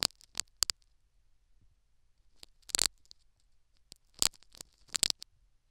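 A metal syringe needle pokes and scratches the foam plug in a silicone dummy ear microphone. Sharp, bright clicks and scratchy bursts come in clusters separated by near-silence, and each touch dies away almost instantly.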